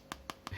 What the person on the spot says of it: iya, ini plastik ya, polikarbonat, plastik banget ini.